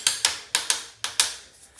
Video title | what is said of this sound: Small shower bottom | for the most part it sounds solid